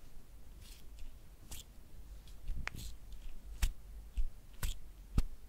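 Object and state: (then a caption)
Soft plastic cream tube. Long painted nails tap and scratch a hollow, hand-sized white soft plastic cream tube labelled "Sécheresses cutanées." Quiet, irregular clicks and scratchy crackles come about once a second, each a brief bright tick that dies away almost at once over a low, dull background.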